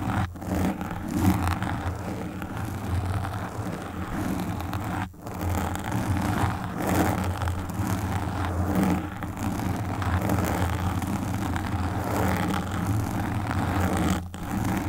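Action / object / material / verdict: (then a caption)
scrape / foam microphone windscreen / foam / none. Long pink nails scratch and stroke the black foam windscreen of a desktop microphone. The result is a continuous, close, muffled rubbing and scraping with a heavy low rumble and little high end. The sound dips briefly near the start, around five seconds, and just before the end.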